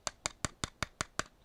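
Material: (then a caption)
Plastic. Seven evenly spaced taps on the back of a large plastic Justice Buster (Batman: Endgame) mega figure, each a short, dry click with almost no ring. The taps sound hollow and light.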